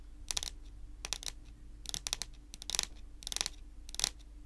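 Long natural nails tap and scratch on a solid, dark wood-grain tabletop, making quick, bright clicks and short scrapes in clustered bursts over a low steady hum. Each tap stops short with almost no ring.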